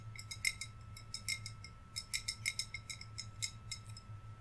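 Fingernails tap on a hollow, green, wine-size glass bottle with string lights inside and decorations on top. About twenty quick, irregular taps give bright, clicky glass ticks with a faint pitched ping near 2.1 kHz. Each dies away almost instantly over a steady low hum.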